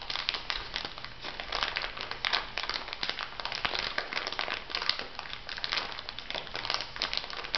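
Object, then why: Plastic packet of granules. Fingertips and nails press and rub an elongated clear plastic packet filled with white granules. The result is a steady, dense run of bright crinkling and crackling, with quick sharp snaps and a soft gritty shifting underneath, going on without pause for the whole clip.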